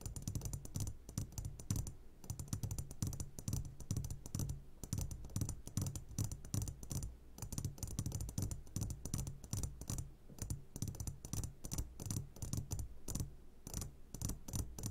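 Fingertips tap rapidly on the sides of an upside-down clear glass jar full of hard candies. The dense stream of short, dry taps has a low thump around 100 Hz and a faint bright clicky edge, with each tap dying away almost at once.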